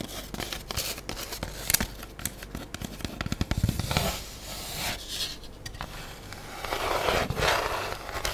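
An empty, lightweight, hollow black styrofoam food tray with an embossed underside is held tilted while long nails scratch and tap along its bottom and edges. Quick, irregular dry taps mix with bright, hissy scratching that swells in longer scraping passes near the middle and end. The taps are short and clicky with almost no ring.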